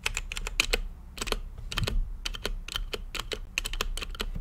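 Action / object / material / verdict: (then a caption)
tap / mechanical keyboard with plastic keycaps / plastic / none. Fingertips type steadily on an RGB-lit mechanical keyboard with plastic keycaps and a clear acrylic case, giving a run of sharp, bright clicky taps with very short decay. There is a brief pause about a second in before the irregular keystrokes resume over a faint low rumble.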